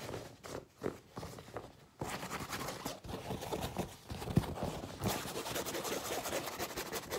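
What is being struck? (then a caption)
Non-woven fabric tote bag. A medium-sized cream printed "Anime Zakka" tote bag of non-woven fabric, empty and flat, is held up, then rubbed and brushed with the palms and fingertips of both hands. It gives a dry, scratchy rustling with soft brushing strokes that start sparse and quiet, then turn denser and louder in steady continuous friction.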